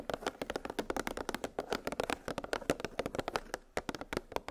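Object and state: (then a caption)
Plastic blister pack of metal cookie cutters. Long pink nails tap quickly across a clear, hollow plastic clamshell blister package that holds nested metal gingerbread cookie cutters on a cardboard backing. The result is a fast, uneven run of many short, dry, hollow plastic clicks, soft and midrange-focused with little low end, each dying away almost instantly.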